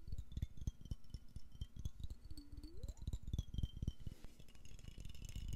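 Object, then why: Glass jar with metal screw lid. A medium clear glass jar with a metal screw lid, hollow and held in both hands close to the mic, is handled and shaken. It makes a dry, irregular rattle of short, low, thumping knocks at about four per second, with a faint tone sliding upward midway.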